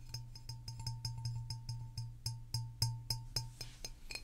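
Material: Glass.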